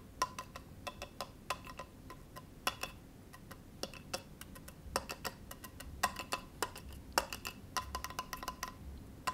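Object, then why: Bamboo cutting board. Fingernails tap and scratch a small solid bamboo cutting board resting on a lap. The result is a quiet, irregular series of sharp, dry clicks, each carrying a brief woody ring around 1 kHz, with faint scratchy texture between the taps.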